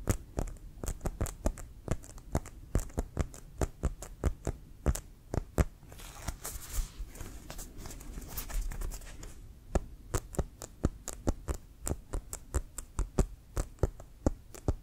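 A full-size, inflated, hollow brown pebbled composite leather American football with a white stripe is held in the hands and tapped and scratched with fingertips and nails. Quick, dull, low thuds patter in an irregular stream, broken midway by a stretch of softer, brighter scratching before the tapping resumes.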